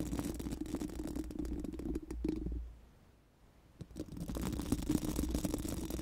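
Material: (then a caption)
Metal mesh. Four pink silicone mascara wands, held in both hands, are rubbed and scratched over a large, round, hollow metal mesh microphone grille. The result is a dense, crackly scratching texture over a steady low hum. It pauses briefly to near silence around the middle, then resumes just as busily.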